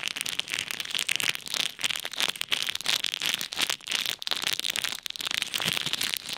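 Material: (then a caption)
Plastic. A clear plastic bag full of pink and white plastic pearl beads is kneaded and rubbed by fingertips over an ear microphone. It makes a dense, bright crackling and rustling, with quick clicks of beads shifting over steady high-pitched plastic crinkle.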